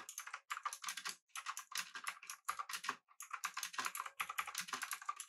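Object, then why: Mechanical keyboard, aluminum case with round plastic keycaps. Both hands type continuously with their fingertips on a pink-backlit mechanical keyboard with an aluminum body and round plastic keycaps. The result is a rapid stream of crisp, bright clacks centered in the upper mids, with almost no low end. A few brief pauses break the flurries of keystrokes.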